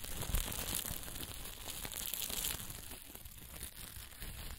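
Bunched black sequin fabric with plastic sequins is held in cupped hands and crumpled and rubbed with the fingers. It makes a dense, continuous crinkling rustle full of bright clicking sequins over a soft low rumble. The sound stays steady throughout and fades slightly toward the end.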